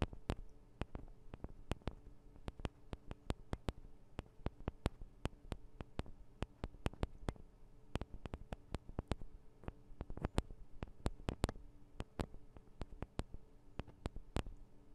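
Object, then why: Metal and plastic recorder microphone capsules. Long acrylic nails rapidly tap and scratch the metal and plastic microphone capsules of a Tascam DR-40 recorder. Dozens of sharp, dry clicks land in an uneven quick rhythm, each dying away almost at once. A steady low hum sits underneath.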